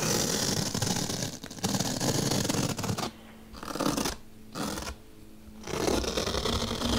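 A long-nailed hand drags and pokes a bottle brush along the slit of a large, solid, white melamine foam magic eraser block. It makes a dense, rapid scratchy rasp with bursts that break off into brief quieter gaps, where a faint low hum remains, before the bright scraping resumes.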